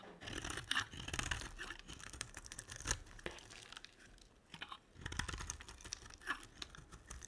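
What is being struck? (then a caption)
Glycerin soap bar. A solid translucent yellow glycerin soap bar is carved with a utility knife blade, giving a steady stream of dry scraping, crisp crunches and tearing shavings. The bright rasping is punctuated by sharper clicks and snaps, with brief quieter pauses between strokes.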